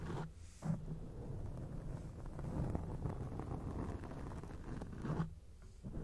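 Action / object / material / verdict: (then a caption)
scrape / foam microphone windscreen / foam / none. Long acrylic nails scratch a round grey foam windscreen on a microphone, producing a dense, low, muffled rustling and scraping with a rumbling bass. The scratching runs almost continuously, with brief quieter pauses near the start and near the end.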